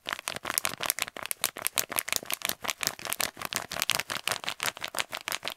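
An empty, hollow kraft paper stand-up pouch is held up and quickly scratched and tapped with fingertips and nails while being crinkled. About thirty rapid, uneven bursts of dry, bright paper crackle and scratching follow one another, with almost no low end and no ring after each hit.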